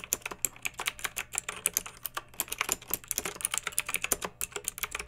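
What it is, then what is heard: Plastic mechanical keyboard being typed on. A pink backlit plastic mechanical keyboard with round typewriter-style plastic keycaps, resting on a fluffy rug, is typed on with long nails and the fingertips of both hands. About 32 quick, bright clicks and clacks come in a steady, uneven rhythm, each dying away almost instantly with little low end.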